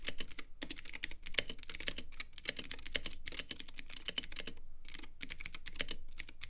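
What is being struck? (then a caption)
Plastic mechanical keyboard with clicky switches. Fingertips of both hands type quickly on a Womier K66 compact mechanical keyboard with Gateron Blue clicky switches, white plastic keycaps and a clear, lit acrylic case. Dense, bright, crisp clicks follow one another with very short decay, with brief pauses between bursts and a steady low hum underneath.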